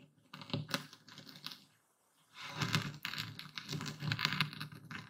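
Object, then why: Coarse epsom salt crystals ground in a wooden bowl with a stone pestle. A dark speckled stone pestle grinds through a full wooden bowl of coarse white Epsom salt, moving in circles and tilting through the crystals. Dense, gritty crunching and crackling comes in quick bursts with a bright edge, then briefly falls silent near the middle before growing louder again.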